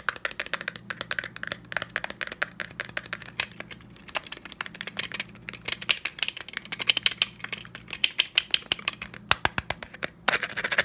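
A black textured plastic stapler with a metal side is held upright and tapped rapidly with the fingertips for about eleven seconds. It makes a dense run of sharp, bright, dry clicks that die away almost instantly, with a few louder taps standing out near the end over a faint low hum.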